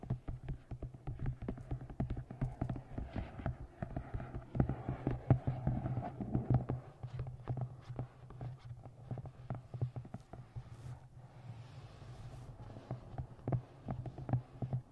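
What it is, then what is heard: Hardcover book tapped with fingernails. Long nails tap quickly along the top edge of a navy moth-print hardcover book with a printed blue cover resting on a microphone. The taps are dense, short and dry, with a low hollow thud around 130 Hz and little high-end brightness.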